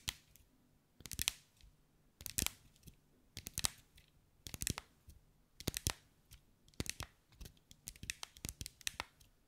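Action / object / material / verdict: tap / mosaic ball with small glass tiles / glass / none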